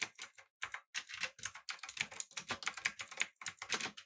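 Both hands type continuously with their fingertips on a backlit mechanical keyboard with an aluminum body, blue switches and round plastic keycaps. The result is a rapid, steady stream of bright, clicky keystrokes with very short decay, concentrated in the upper range with almost no low end.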